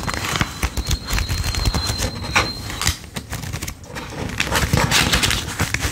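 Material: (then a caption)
Paper. A thick wad of worn US $5 paper bills is held in one hand over a dark table while fingertips flip and riffle through them one by one, counting and rubbing the paper. Crisp papery flicks and soft crinkling rustles come in quick, uneven bursts. A faint, steady high tone hums beneath the first half.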